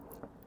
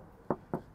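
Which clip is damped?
The first.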